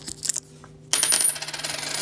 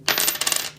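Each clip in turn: First: 50% silver dime, ring with a thud. Second: non-silver nickel coin, dull drop sound.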